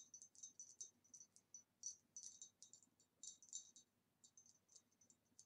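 Fingernails tap quickly on a green retro glass vase with a swirly pattern, dating from about the 1960s. About 25 quiet, bright, high clicks come in irregular bursts, each dying away almost at once with no low end. The vase gives a very nice tapping sound.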